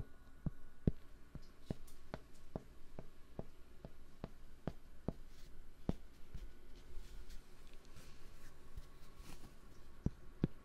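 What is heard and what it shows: Fingertips tap and rub a large, round, flat, solid cork board held beside and against the microphone. Slow, dull thumping taps land at a steady pace, fewer and slower than in a busier stretch, each short and dry with energy mostly in the low range. Soft rubbing fills the gaps between taps.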